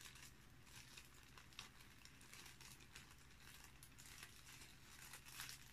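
A small, thin, empty, transparent cellophane bag is held over a dark cloth while the fingertips of both hands crumple, pinch and rub it, first flat and then squeezed into a wad. It gives a steady, bright crinkling and crackling with quick sharp peaks, over a faint low hum.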